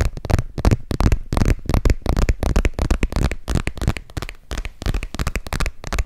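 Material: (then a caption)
Leather. A small gold metallic embossed leather zip wallet, held in both hands, is tapped and scratched with fingernails. The result is a fast, irregular run of soft, dull taps mixed with scratchy rustling. The sound is heavy in the low end, and each tap dies away almost at once.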